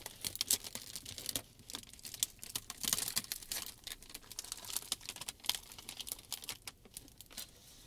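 A clear, folded sheet of plastic shrink wrap film is lifted and crinkled by the fingers. It makes dense, bright crinkling and crackling with many sharp, short snaps of varying loudness. There is almost no low end.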